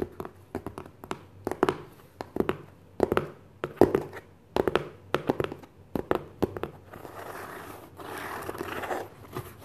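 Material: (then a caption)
Cardboard. A medium white cardboard book box, hollow with its contents not visible, sits inside an opened brown shipping carton and is tapped and scratched with fingertips and short nails. Quick, dry, hollow taps with a mid-range knock come in clusters for about seven seconds. They give way to a soft, sustained papery scratching before a few final light taps.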